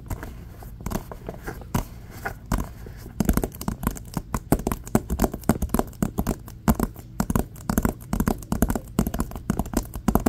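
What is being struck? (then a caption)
Woven polypropylene tote bag. A large printed Aldi reusable tote bag of woven polypropylene plastic, held on the lap, is gripped and scratched along its top edge with fingertips and nails. Soft, sparse crinkles in the first three seconds give way to a dense stream of sharp, dry scratching and crackling bursts, with a low body and a bright rasp.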